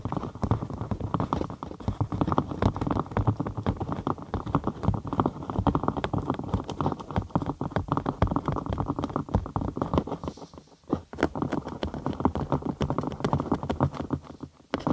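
A large hollow cylinder of rolled cork sheet placed over the microphone is tapped and scratched with long acrylic nails. The result is a dense stream of fast, irregular, dull and bassy taps with short scratchy strokes and almost no high-end brightness. The sound drops out briefly around the 11-second mark before continuing.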